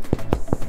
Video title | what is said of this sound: Making A Quick & Easy Loaf of Bread with My Ninja® Kitchen Food Processor Using the Dough Feature | if you hear that it's hollow it is done